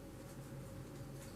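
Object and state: Nothing is struck.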